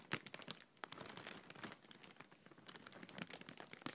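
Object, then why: Thin plastic bag. Fingertips and nails gently crinkle and rub the film of an empty, clear printed plastic bag held partly behind the hand. Soft, bright crinkling and rustling run throughout, with many quick, sharp crackles that die away almost instantly.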